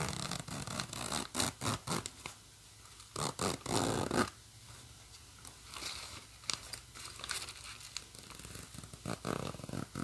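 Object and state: Nylon bag with plastic coil zipper.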